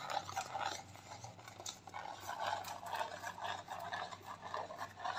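Long nails rub and scratch along a white plastic clay mask tube held horizontally. The result is a quiet, continuous, irregular crinkly scratching with a dry midrange texture centered near 800 Hz and a faint bright hiss.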